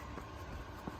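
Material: Nothing is struck.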